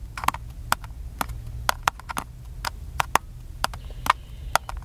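A small, hollow black plastic camcorder with its side screen open and a cable visible is tapped with the fingertips. About seventeen short, dry, clicky taps land in an uneven rhythm, each ringing briefly around 900 Hz with a bright edge. A faint low hum sits underneath throughout.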